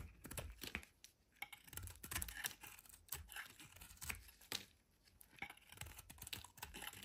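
A solid orange oval bar of soap, held in the hand, is shaved into curls with a metal utility knife blade. Quiet, bright, crisp scraping and crackling strokes come in quick bursts with brief pauses between them, each stroke dying away almost at once.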